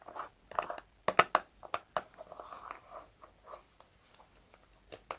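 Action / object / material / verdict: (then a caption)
tap / small plastic jar with lid / plastic / none. A small round red plastic jar of hair wax with a lid is held in both hands and tapped and scratched with fingertips and short nails on the lid and sides. Quiet, irregular dry taps and light scratching sound in the midrange, with a few sharper, brighter clicks that die away almost instantly.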